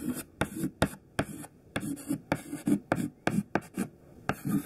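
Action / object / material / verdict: scrape / white chalk stick on a chalkboard / chalk / none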